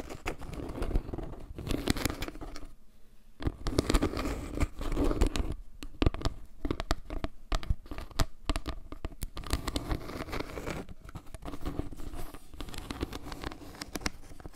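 A round, flat, solid trivet made of natural wood log slices with carved maple-leaf pieces and a dark center is held up close to the mic and tapped and scratched with long painted nails, its edge briefly shown. Dense, dry crackling taps and scratchy rubbing follow one another, heavy in the low end, with a short pause near the three-second mark.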